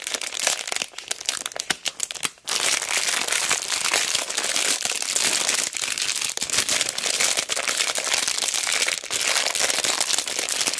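A hand-sized retail pack of small solid light-wood cubes, sealed in a clear crinkly plastic bag with a cardboard header, is held in both hands and squeezed and pressed by fingertips with long black nails. The plastic makes dense, bright crinkling and crackling as the blocks shift inside. The sound is sparser for the first two seconds and then grows into a steady crinkle with a few brief pauses.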